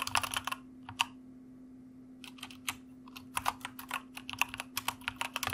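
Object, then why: Plastic mechanical computer keyboard. A white plastic mechanical computer keyboard is typed on with the fingertips of both hands, giving about two dozen short, bright, clicky keystrokes. A quick burst is followed by a pause of over a second, then uneven typing resumes, all over a faint steady low hum.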